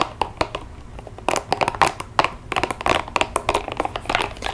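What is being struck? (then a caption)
Rubber spiky massage ball. A small, hollow, hot-pink spiky rubber massage ball is held in the palm, tapped and scratched over its spikes with long nails, then squeezed. Quick, dry clicks and scratchy crinkling run in uneven bursts, with a slightly resonant tone around 860 Hz and bright, short-lived transients.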